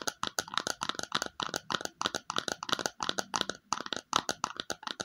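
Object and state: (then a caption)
Plastic bowl tapped with fingernails. A small, hollow, glossy red plastic bowl is tapped on its underside with long fingernails. Quick, light, dry clicks come in rapid clusters with almost no ring, bright and crisp with a hollow tone around 1.3 kHz.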